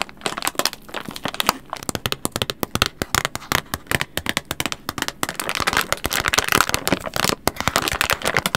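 A hand-sized, apparently full, soft white-and-purple plastic pack of wet wipes is held in both hands in front of a microphone and crinkled and scratched with long red-painted nails. A rapid, dense run of short, sharp, bright crackles and crinkles dies away almost instantly, with little low end.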